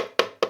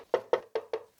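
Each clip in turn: First: plastic light housing, sounds sound. Second: hollow plastic light housing.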